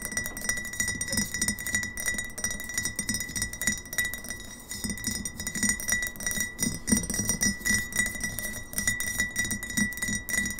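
Long nails tap quickly on a mostly empty, hollow GT's Synergy glass kombucha bottle with a paper label, standing on a table, striking both the glass and the label. The result is a dense, uneven run of short, bright clicks and clinks with a steady thin tone near 2 kHz and a low hollow body around 210 Hz. Each tap dies away almost at once.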